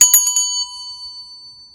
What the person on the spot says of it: that ringing sound basically when you're looking for silver in the store